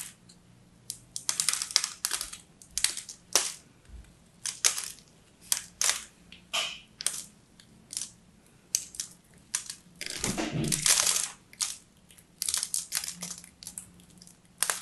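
A small metal blade scrapes and cracks dry, coated flakes off a hand-sized solid blue bar of soap with a striped inner layer, held in one hand. Bright, crisp scratching and crunching snaps come in quick, irregular bursts, with a longer grinding scrape near the middle. Each burst ends abruptly against a quiet background.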